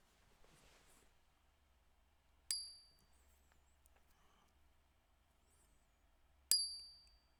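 A 1 oz gold Maple Leaf bullion coin is struck twice with a stiff object, each hit producing a bright, high-pitched ring that decays over about a second. The ring's frequencies match those expected for a genuine gold Maple Leaf, showing the coin is real.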